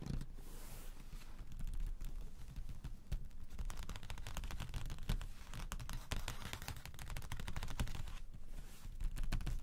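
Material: Cardboard.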